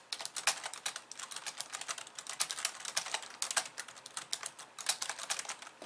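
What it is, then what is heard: Plastic computer keyboard being typed on. Long polished nails type rapidly with both hands on a compact pink and white plastic computer keyboard resting on a wooden desk. The result is a dense, continuous stream of sharp, bright, clicky keystrokes with very short decay and no low-end thump.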